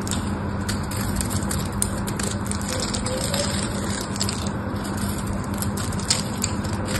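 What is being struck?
Soap bar scraped with a small knife.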